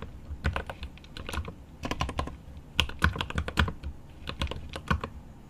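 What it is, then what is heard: Mechanical keyboard with plastic keycaps and aluminium case. One hand types rapid fingertip taps on a mechanical keyboard with plastic keycaps and an aluminum case. The keys give short, deep clacks with bright clicky edges, coming in quick bursts separated by brief pauses.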